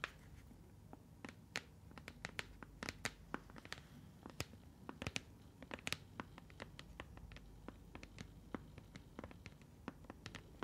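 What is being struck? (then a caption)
Partly filled plastic bottle. A translucent blue plastic bottle, partly filled with liquid and closed with a snap cap, is held and turned while long nails tap and scratch its sides. Dense, sharp clicks and taps, bright and very short, play over a soft low rustle of handling throughout.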